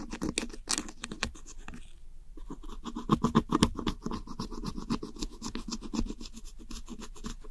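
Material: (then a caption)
Pressed powder. A thin metal pick scratches the crumbling blue and teal pressed eyeshadow pans in a round white plastic compact held by fingertips. Rapid, uneven dry scraping and crisp ticking strokes, about four per second, run throughout with a brief quieter pause near two seconds. The sound is short, dry and gritty with little ring.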